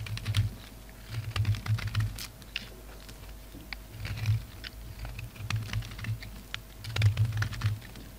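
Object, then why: Soap bar scraped with a knife blade. A red, black and white solid bar of soap is shaved with a utility knife blade, cutting and scraping. Soft, clustered scraping bursts come in several waves, carrying a low thud with sharp bright crackles on top, separated by quiet pauses.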